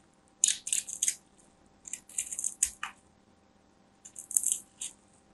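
A small black craft knife cuts and scrapes the surface and edge of a palm-sized solid white bar of soap held in a hand with long nails. Three bursts of crisp, bright scratching and scraping come in quick rasping strokes, separated by quiet pauses.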